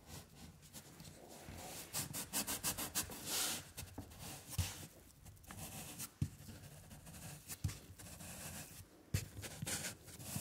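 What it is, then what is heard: Paper rubbed on a lino block. A round baren with a wooden knob handle is rubbed in circular strokes over a flat sheet of white printing paper on an inked linoleum block, while the other hand holds the paper in place. Quiet, soft scratchy rubbing and bright papery hiss rise and fall in waves over a low rumble, with a few sharper taps and rustles along the way.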